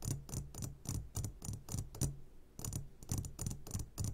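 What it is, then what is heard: Glass candy jar. A medium glass jar, turned upside down and full of sugared gummy candies, is tapped on its sides with the short fingertips of both hands. About 14 soft, quick taps fall in an uneven rhythm, each a dull low knock around 140 Hz with a bright clicky edge. Each tap dies away quickly with little ring.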